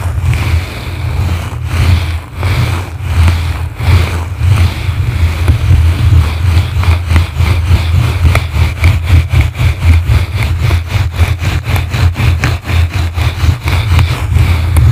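Two blue plastic brushes, one held in each hand, scratch the sides of a yellow foam microphone windscreen. This produces a heavy, deep rumbling scrape with a faint bright hiss above it. The strokes become quicker and more regular in the second half, forming a rapid rhythmic pulse.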